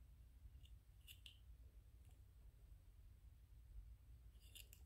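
A small white 3D-printed PLA plastic ghost toy is held between fingers while fingernails scratch and tap on it. Short, bright, crisp clicks and scrapes come in sparse bursts over a quiet, steady low rumble. The clip stays soft throughout.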